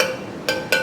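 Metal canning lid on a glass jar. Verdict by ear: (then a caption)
Hollow. A metal lid on a glass canning jar of pressure-canned tomato sauce is tapped three times, giving short, hollow clinks with a ringing tone around 520 Hz. The hollow sound and the lid's button not being pressed down show that the jar did not seal.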